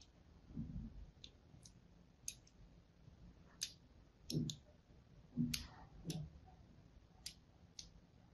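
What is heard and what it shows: A thin blade scores a crosshatch into the surface of a solid, hand-held pink and white striped soap bar. About ten sharp, bright clicks come at irregular intervals, some with soft, dull low scrapes beneath them, over a quiet background.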